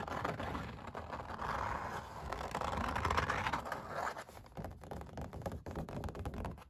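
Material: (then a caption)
Canvas. Long black nails scratch and pick at the textured paint ridges of an oil painting of puppies on stretched canvas, with some fingertip tapping. Dense, irregular dry scraping and rustling crackles fill the clip, with a low drum-like thump from the canvas under the short, quick clicks.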